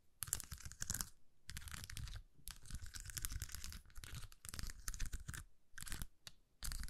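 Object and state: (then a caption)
Plastic rhinestone sticker sheet. A thin plastic rhinestone sticker sheet with rows of acrylic gems is curled between the fingers while long nails rapidly scratch the gems. Dense bursts of dry, crackling scratches with a bright, hissy top come in several runs separated by brief pauses, each sound stopping almost instantly with no ring.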